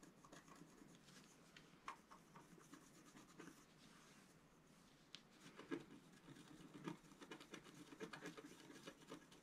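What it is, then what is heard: Scratch-art card being scratched. A wooden stylus held in the fingers scratches lines into the coating of a flat black-coated scratch-art card on a table, while the other hand steadies the sheet. The strokes are quiet, dry and gritty, coming in irregular bursts with a low papery body and bright, grainy edges. Sharper scrapes stand out now and then against a soft rubbing texture.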